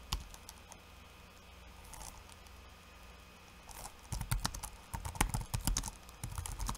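Fingertips of one hand type quickly on a backlit laptop keyboard with plastic keycaps. A few soft, scattered taps give way after about four seconds to dense, rapid clicking with short, bright clacks, over a steady low hum.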